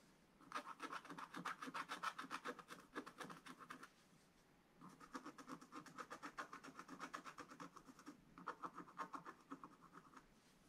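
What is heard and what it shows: A wooden stylus held in the fingers scratches the black coating off a thin page of a spiral-bound scratch-art book, revealing a colourful Easter bunny scene. Rapid, dry back-and-forth scratching strokes come in three bursts separated by short pauses, with a raspy midrange tone around 1.3 kHz and faint bright hiss.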